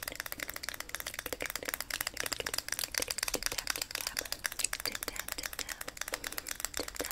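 Long grey nails rapidly tap and scratch across the lid of a small, round, hollow clear plastic e.l.f. makeup powder compact held in both hands. The result is a dense stream of sharp, bright plastic clicks and ticks with a thin scratchy hiss between them, each click stopping almost instantly with no ring.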